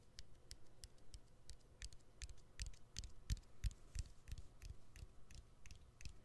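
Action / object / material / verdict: tap / smartphone battery and plastic frame / plastic / none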